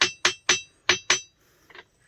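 Two stones from a temple site are struck together five times, each hit giving a sharp, high, bell-like clink that rings briefly and fades. The stone is said to ring like this even when played away from the site. A faint, softer tap follows after the last hit.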